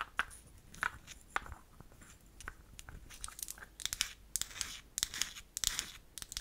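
Long acrylic nails tap and scratch the front and cap of a small, solid, pink-painted wooden toy nail polish bottle held in the palm. Quiet, crisp clicks and dry scratching sound with bright, high-pitched edges and almost no low end. The taps die away almost instantly and come denser and brisker in the second half.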